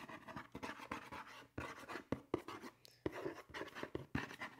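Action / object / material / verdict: tap / cardboard shoe box / cardboard / none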